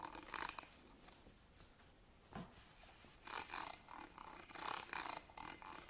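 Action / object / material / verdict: scrape / ribbed metal purse clasp frame / metal / none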